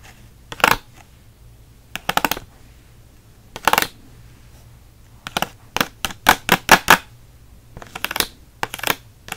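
A hand-sized pack of six Micron pens in a clear plastic blister on a pink cardboard backing is held in one hand while the blister is scratched with the short nails and fingertips of the other. Quick, crisp, bright scratching comes in a series of short bursts separated by near-silence. The bursts grow denser and faster in the middle of the clip and then spread out again.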